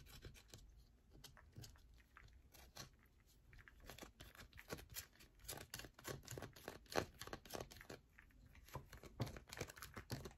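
A solid yellow bar of soap is rubbed and scratched with long nails, producing a dry, rasping sound. Dense, irregular bursts of quick, crisp scratches and light taps run throughout, with bright, gritty edges over a soft low thud.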